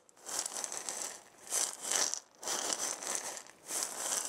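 A hand-sized round wooden maraca, with a wooden handle and a burned zigzag pattern, hollow with filling inside, is shaken by hand. It makes four swelling bursts of bright, hissy rattling from the loose filling, with brief dips between them. The sound is almost entirely high and crisp, with no low body.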